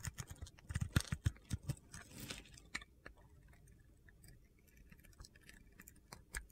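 A solid green-glitter soap bar with a teal interior, held in the palm, has crunchy shavings carved off it by a metal cutter blade. Dense, irregular scraping crunches and clicks come fast in the first three seconds, then thin out into sparser, quieter ticks with one last sharper crunch near the end.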